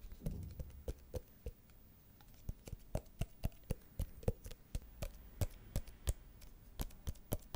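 A small, elongated, hollow white paperboard box is held horizontally over the mic and rapidly tapped with the fingertips of both hands. The result is a quiet, irregular run of short, dry, low-pitched hollow taps that die away almost instantly, with a brief lull before the tapping picks up again.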